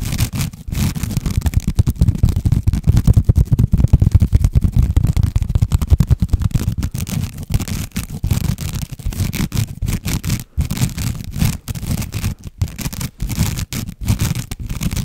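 Fingernails of both hands rapidly scratch a long woven jute or sisal rope-covered cylinder held horizontally in front of a microphone. The result is a dense, continuous, fast scratching texture that is heavy and muffled in the low end, with little high detail and a few brief pauses between bursts.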